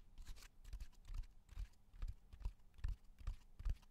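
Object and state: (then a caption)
Cork bark slab. A flat natural cork bark slab, about 30 cm long, solid with a rough textured surface, is tapped and drummed with fingertips and nails close to the microphone. It gives soft, dull, low thuds with brief bright clicky edges, falling into a loose, uneven rhythm. Each tap dies away almost at once, leaving no ring.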